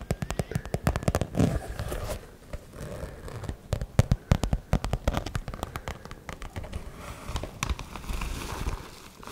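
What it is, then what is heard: Glitter fabric zip pouch. Long nails scratch the glitter surface of a hollow, soft-sided fuchsia glitter fabric zip cosmetic pouch, possibly while handling its zipper. The result is a dense run of dry, rapid crackling scratches that sound low and muffled, with no ring after each stroke and brief quieter pauses between bursts.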